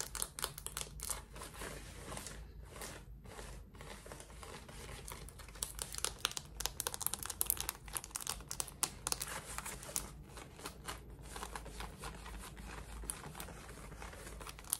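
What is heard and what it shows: Long red nails scratch the waistband, button area and pocket of worn, light-wash cotton denim shorts. The result is a quiet, dense stream of short, bright, crinkly scratches over a faint low rumble.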